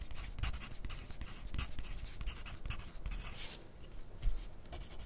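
A wooden graphite pencil is drawn across a white paper sheet clipped to a flat clipboard on a desk while writing. Soft, dry scratching comes in quick, uneven bursts with bright hiss, over a low, dull rumble from the board.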